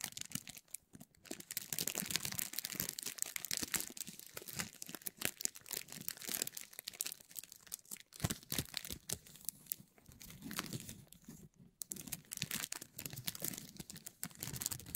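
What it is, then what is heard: Cellophane wrap crinkling. A thin, clear cellophane sheet, held in both hands above Christmas decorations, is crinkled and stretched with the fingertips. The result is a steady, quiet stream of dense, bright crackles and crisp crinkling bursts with almost no ring, broken by brief pauses, with a faint lower rustle underneath.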